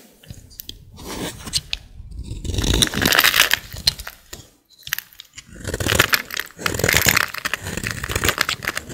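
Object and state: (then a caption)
Dry soap bar. A utility blade scrapes a solid, dry green bar of soap held in a hand with long black nails. Dense, crisp crunching and scraping rasps come in bright bursts with short pauses, each stroke dying away almost at once.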